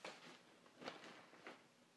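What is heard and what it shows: Fingertips and nails trace, lightly scratch and rub the surface of a single glossy paper grocery-store flyer lying flat on a dark table. Soft, quiet papery scratching and rubbing rises in a few brief, bright swells over a faint hiss.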